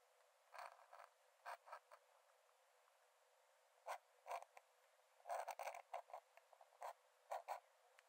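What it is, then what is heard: Metal dip pen scratching on a paper sketchbook page. A metal nib in a wooden dip-pen holder scratches long lines onto the cream paper page of an open sketchbook lying flat on a dark desk while drawing. Short, dry, creaky scratching strokes come in irregular bursts with quiet pauses between them. The sound is thin and papery, centred in the mid-range with no low end.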